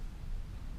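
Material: Nothing is struck.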